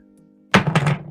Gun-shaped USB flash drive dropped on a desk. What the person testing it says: that's got some weight to it